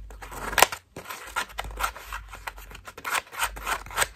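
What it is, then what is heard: Foam bath loofah. A cream-colored foam bath loofah is squeezed and scratched with long nails, its petals pressed together. The result is a series of dry, bright scratching and crinkling bursts, with a sharp louder crackle early on and short quiet gaps between strokes.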